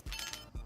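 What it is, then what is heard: Handmade lacquered toy that rings properly. A handmade lacquered fidget toy with no seam or hole is struck twice, each hit giving a low knock followed by a clear, bright ring around 3 kHz that fades within about a quarter second. It rings properly, a sign that it is well made.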